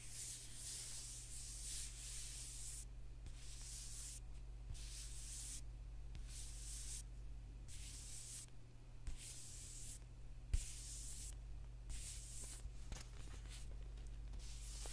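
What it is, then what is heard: Paperback book being scratched. Fingertips and nails rub and scratch the dark glossy cover of a thick, solid paperback book as it rests on a table and is then lifted and handled. Soft, bright scratching strokes come in a steady back-and-forth rhythm with brief pauses between them, over a constant low hum. A couple of faint taps are heard as the book is handled.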